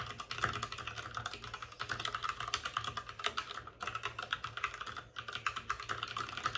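Both hands rapidly type with their fingertips on the plastic keycaps of a white, backlit RGB mechanical computer keyboard resting on a desk with a padded wrist rest. The result is a dense, steady stream of crisp, short clacks centred around 1.3 kHz, with bright edges and a faint low hum underneath. Brief pauses occur near 3.7 and 5.1 seconds.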